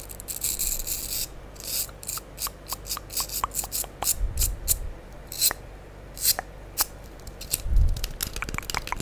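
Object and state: Foam sponge block.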